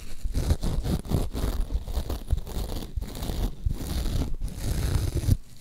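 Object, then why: Glitter-coated foam sponge. Long acrylic nails scratch the sparkly surface of a soft, porous, hand-sized pink glitter-coated foam sponge. The result is a steady, dense stream of scratchy, rustling strokes with a muffled, low-heavy body and a faint bright hiss. Brief dips in level separate the bursts of scratching.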